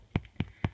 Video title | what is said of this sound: Buttermilk Bread | tap the bottom of the bread we're going to be listening for a hollow sound so I'm going to say that's pretty Hollow and the bread is done